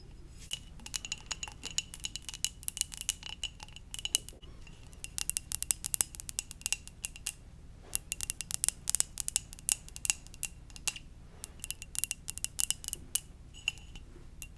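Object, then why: Ceramic mug. A red and white ceramic mug shaped like a Pokeball, hollow and empty, is held in one hand and tapped with long dark-painted nails. Rapid, bright clicking taps with faint glassy ringing come in dense bursts over a low steady hum.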